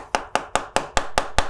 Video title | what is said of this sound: PRO REVIEW iPhone 14 | ini sangatsangat kopong karena gak ada baterainya